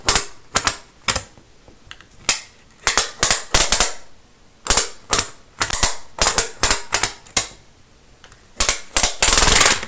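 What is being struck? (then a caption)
Thin plastic studded baseplate. A thin green plastic Lego baseplate held in one hand has its studs scratched fast with a pen-like tool. The result is a series of sharp, bright, rattling scratch bursts separated by short silences, building into a dense, loud, sustained scrape at the end.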